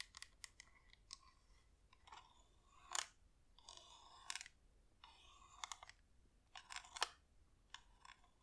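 A wax flameless LED pillar candle with a hollow top is turned in the hands while long nails tap and scratch it. Quiet, bright clicks and short scratchy rasps come in an irregular pattern, with a few louder taps that stop almost instantly.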